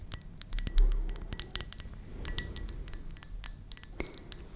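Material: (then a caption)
Ceramic. Long nails tap quickly and irregularly on the outside of a hollow, empty white ceramic mug with a blue flower pattern, held close to the mic. The bright, clicky taps leave faint ringing tones around 2 kHz over a low rumble, with one louder thump near the start.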